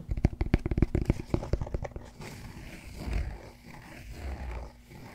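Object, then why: Cork yoga block. Fingertips tap rapidly on the broad face of a large solid cork yoga block, making dull, low, short thuds with almost no ring for the first two seconds. Then nails scratch across the same face, giving a softer, continuous rasping scrape with gentle swells.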